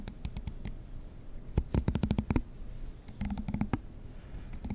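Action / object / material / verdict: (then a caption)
flick / plastic comb / plastic / none. A fingernail strums the teeth of a black plastic comb close to the microphone, producing bursts of rapid dry clicks and ticks. The clicks are short with almost no ring and carry a low, thumping body, separated by brief quiet gaps.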